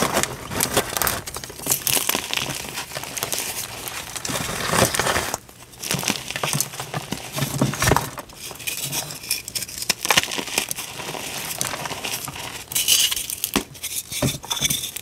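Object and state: Dyed gym chalk blocks being crushed.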